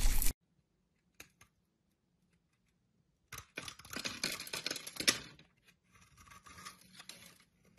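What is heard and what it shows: A metal blade scrapes shavings off the surface of a solid, hand-sized orange bar of soap with round knobs on top, held in the hand. A brief loud, bright burst opens the clip, followed by a couple of faint ticks and a pause. Then a dense, crisp, crackling scrape builds, peaks, and fades into softer, lighter scraping to the end.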